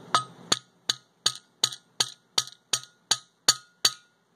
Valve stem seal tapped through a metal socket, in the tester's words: when you hear the tone change you know you're all the way down